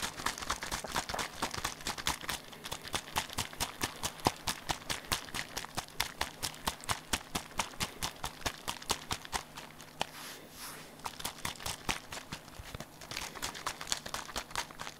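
A small hollow pink plastic bottle is held in one hand and shaken rapidly while fingers tap its side. It makes a dense run of quick, bright, dry clicks and taps in a loose rhythm, with a brief softer lull near the ten-second mark. A faint steady low hum sits underneath.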